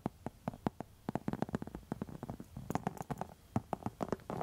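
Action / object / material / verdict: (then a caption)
scrape / textured faux leather wallet scratched with metal nail tips / faux leather / none. Long metal nail tips scratch and tap across a pink textured faux leather wallet. The result is a quick, irregular run of short, dry, muffled clicks and scrapes with a low-mid body, no ring, and a brief denser rasp at the end.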